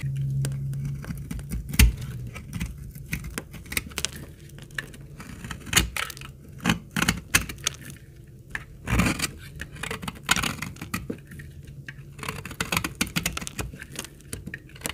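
A utility blade carves curls from the corner of a solid, dark brown, very old and dry laundry soap bar. Sharp, dry scraping and crackling cuts come in uneven bursts over a low steady hum, with brief bright snaps between quieter stretches.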